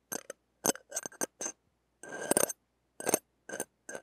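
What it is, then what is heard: Steel wire-mesh microphone grille being scraped. The hooked tip of a stainless steel ear pick scrapes over a small, hollow wire-mesh metal microphone grille and its rim while the grille is held in hand. It makes a series of short, bright, scratchy metallic bursts with near-silent gaps, plus one longer, rougher scrape midway through. Each stroke stops almost instantly with very little ring.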